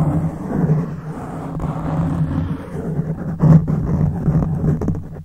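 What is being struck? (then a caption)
Foam microphone windscreen. Fingertips and nails of both hands scratch a black foam windscreen on a silver microphone. The result is a dense, muffled, rumbling scrape concentrated in the low end, with a steady hum-like tone and brief louder swells of friction partway through before it fades out.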